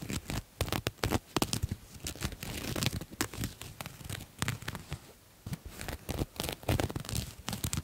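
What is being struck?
Satin fabric jacket.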